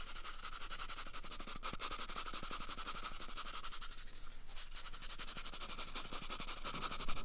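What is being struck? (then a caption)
Cardboard toilet paper tube. A small, empty, hollow brown cardboard toilet paper tube is held at the microphone's ear and scratched rapidly with fingernails. A dense, steady stream of dry, bright scratching rasps continues throughout, with a brief dip around the middle before it picks back up slightly louder toward the end.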